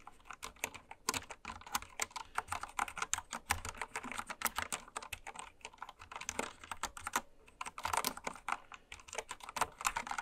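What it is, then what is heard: Plastic mechanical keyboard. A full-size, white-cased mechanical keyboard with pastel plastic keycaps lies on fabric while fingertips and long red nails type on it quickly. Its sharp, clicky keystrokes come in a dense, uneven stream, each short and bright with little low end.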